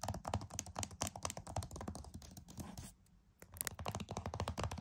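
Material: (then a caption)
Plastic. Fingernails tap rapidly on the front cover of a flat, hollow plastic PS5 game case, making dense, crisp clicking taps with a low hollow thump. The tapping runs steadily, pauses briefly after about three seconds, then resumes just as fast.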